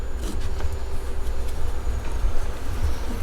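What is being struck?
Nothing is struck.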